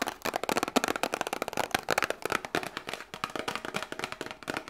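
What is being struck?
Small cardboard box.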